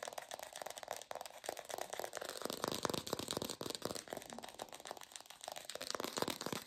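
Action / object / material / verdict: tap / artificial plastic pear / plastic / fake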